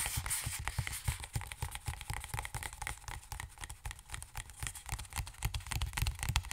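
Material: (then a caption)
Plastic. A hollow, partly filled plastic Aveeno hand lotion tube, about 20 cm long, is held in one hand and tapped with the fingertips and nails of the other. The result is a rapid, uneven run of soft, dull, low thumps, each carrying a bright, crisp nail tick. Every tap dies away almost instantly at a quiet level.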